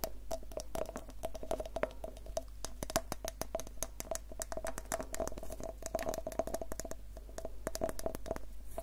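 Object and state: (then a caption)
Vinyl toy figure tapped with fingernails. A small hollow vinyl Funko Pop Groot figure is held close to the microphone and tapped and scratched with long painted fingernails. Quick, dense, crisp clicks each carry a brief hollow ring around 650 Hz, with light scratching between the taps. A steady low hum sits underneath.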